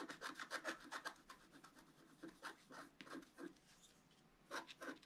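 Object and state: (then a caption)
Scratch-art sheet scratched with a stylus. A wooden stylus tip scratches across a flat, black-coated paper scratch-art card held flat by one hand. It makes a quick, uneven run of short, dry rasping strokes with a bright, papery edge. Each stroke stops almost at once, with a brief pause midway before a final few strokes.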